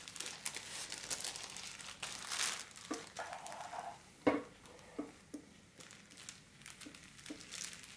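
A large, thin, folded sheet of pink holographic metallic foil wrapping film is handled, crinkled and scratched with long black-polished nails and fingertips. Dense, bright crinkling and rustling fills the first few seconds, then a sharp, louder crackle stands out near the middle. After that, quieter, scattered scratches and small crinkly ticks follow.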